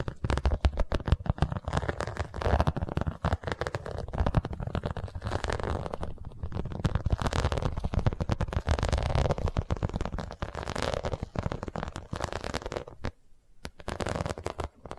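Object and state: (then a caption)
Vinyl cosmetic pouch, scratched and tapped. An iridescent, scale-embossed holographic vinyl cosmetic pouch is held in the hand and scratched and tapped with long nails. The result is a dense, continuous stream of rapid crackling scratches and soft taps with a heavy low-end thump and little brightness, and a brief near-silent gap around the 13-second mark.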